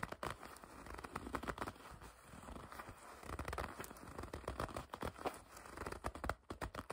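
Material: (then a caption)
Leather. A dark leather jacket is gathered in the hands while long red nails grip and scratch the leather. Quiet, dense squeaky crinkling and scratching comes in rapid uneven bursts with short pauses, centered in the low-mid range and never turning bright.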